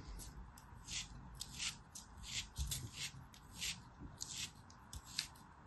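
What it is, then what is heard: Kinetic sand being cut and scraped. A small, solid, molded beige kinetic sand piece is carved and scraped with a black craft knife. About ten soft, bright, gritty scraping strokes stand out from a quiet low hiss, each with a short crumbly rasp that fades quickly.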